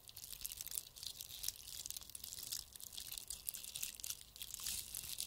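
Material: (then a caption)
Plastic beads. A gold bead-covered Christmas bauble is scratched and rubbed with the fingertips and nails of both hands. The result is a quiet, steady stream of bright, crisp crackling and crunchy, crinkly scratching with almost no low end.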